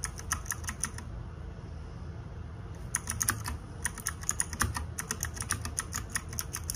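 Fingertips and nails type on the plastic keycaps of a small RGB-backlit 60% mechanical keyboard, producing short, bright clicks that die away almost instantly. A burst of typing stops after about a second, then resumes with steady clacking until the end. A low, constant rumble sits underneath throughout.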